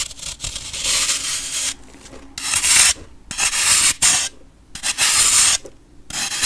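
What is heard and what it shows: A metal knife blade repeatedly scrapes a solid compressed baking soda block held in hand, piling up powder shavings. Each stroke is a bright, gritty rasp, almost all high-frequency hiss with very little low end. The strokes come in irregular bursts separated by short quiet gaps.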